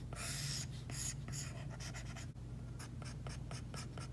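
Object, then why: Stylus tip on tablet glass with matte plastic protector. A plastic Apple Pencil tip makes rapid, short hatching strokes on an iPad glass screen fitted with a matte plastic screen protector. Each stroke is a quick, dry, bright scratch over a steady low hum.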